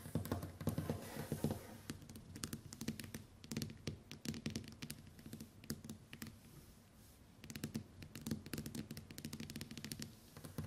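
Long white acrylic nails tap rapidly on the glass screen of a smartphone lying flat on a wooden table. The result is a quiet, steady stream of short, sharp clicks with a low, hollow thunk around 215 Hz beneath them, and brief bursts of denser tapping between softer stretches.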